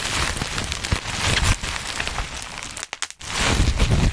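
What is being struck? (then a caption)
Plastic bubble wrap. Black plastic bubble wrap bunched over the mic is pinched and popped with fingertips, giving a dense, rustling crinkle with a heavy low rumble from the close handling. Sharp, bright pops stand out from the crinkle. Near the end the noise briefly drops away around a few isolated snaps before the crinkling swells back up.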